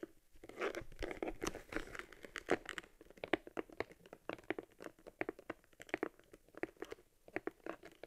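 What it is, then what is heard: Leather camera case creaking. Fingers squeeze and rub a small, hollow, worn leather camera case from an Argus C3, held in the hands. The leather gives a rapid series of short, dry creaks and crinkling crackles with a mid-range body around 344 Hz and bright edges. Each creak stops almost instantly.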